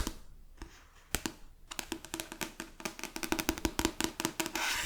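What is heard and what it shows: A book, with its paper pages and cover, is tapped with the fingers, giving a few slow, spaced taps followed by a quicker run of short, dry knocks with a low hollow tone. The taps stop with almost no ring, and a soft broadband hiss rises at the very end.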